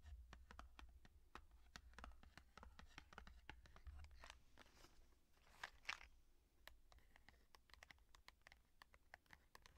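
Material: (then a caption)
Cardboard. A small yellow cardboard cook's matchbox, hollow with matches inside, is held in the hands and tapped quickly and scratched with long painted fingernails. It gives a rapid run of sharp, bright, typing-like clicks with soft scratchy scraping over a faint low hum. By the end the box is turned on its side.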